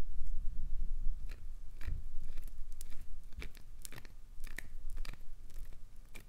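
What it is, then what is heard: Glycerin soap bar. Long nails scrape and crumble the ridged surface of a chunk of solid translucent green glycerin soap held in the hand. Irregular, bright crackling and crunching scratches come in quick bursts over a steady low rumble.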